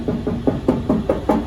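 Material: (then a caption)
Sheet steel. Knocking on the lower front steel fender of a 1971 Nova at a spot that seems off: seven evenly spaced, dull metallic knocks with short ring and a low-mid tone. The knock sounds like bare metal rather than body filler, suggesting just a small dent.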